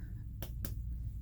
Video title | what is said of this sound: Head to toe assessment | percuss and listen for any dull sounds that's good